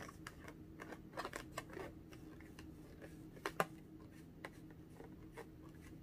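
A small, hollow, air-filled pink latex balloon, held in both hands, is tapped and scratched with long orange-painted nails. Soft, dry clicks and scratchy brushes come in uneven bursts over a faint steady hum, with two sharper taps standing out near the middle.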